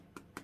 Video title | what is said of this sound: Hot To Make Mini Hotdogs Party Food Canapé Recipe | you tap them on the bottom and they sound hollow